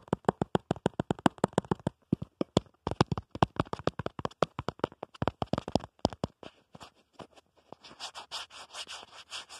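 Fingertips and short nails tap rapidly on the back of a smartphone in a black plastic/rubber protective case, around the camera bump, giving a long run of sharp, dry clicks. The taps thin out and give way to softer, hissy scratching across the case near the end.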